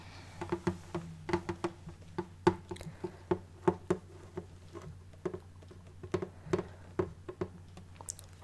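Fingers tap on the wooden body of an acoustic guitar in a quick, irregular run of short knocks. Each tap gives a dry, hollow wooden thump with a brief mid-pitched resonance that dies away almost at once. A faint low hum sits steadily underneath.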